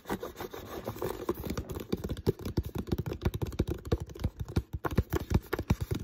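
Fingers tap and scratch an empty, hollow, clear plastic water bottle with a green label, handled near its neck. A rapid, uneven string of short, dull, low crinkly knocks and scrapes runs throughout, each dying away almost instantly with little brightness.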